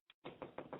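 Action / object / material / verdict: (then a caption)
knock / room wall / unknown / none. Knocking on a room wall to signal someone in another room. A short faint tap comes first, then four louder, dull knocks in quick succession, with most of the sound in the low midrange and little high-end brightness.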